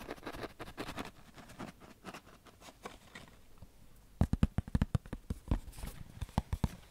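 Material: Cardboard.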